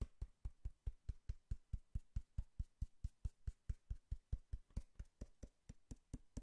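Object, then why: Cardboard box. A cardboard box is knocked and tapped in a steady, fast rhythm of about 30 dull, low thuds, each stopping almost instantly with no ring.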